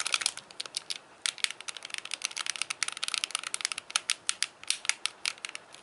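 Fingertips tap and click the small buttons and D-pad of a hand-sized, hollow white plastic Wii Classic controller. A rapid, irregular series of sharp, dry, bright clicks and taps is heard, each stopping instantly with no ring or low-end body.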